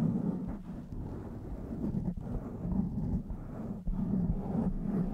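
Long white-tipped nails of both hands scratch and rub a blue foam windscreen on a black microphone. The result is a dense, muffled, continuous rustling and scraping, heavy in the lows with almost no bright content, broken by a few brief dips.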